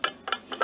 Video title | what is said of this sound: Vintage Christmas in July! | certainly when i thump it i do hear that rattle that you don't like to hear so it's definitely cracked and it's more than just a surface crack